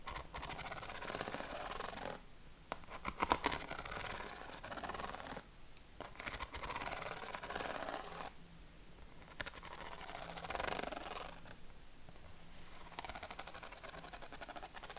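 A yellow corrugated craft paper sheet is held against the chest while fingernails scratch across its ribs. Dry, raspy scratching comes in bursts of rapid ridged clicks separated by brief quiet pauses, with a bright, papery texture throughout.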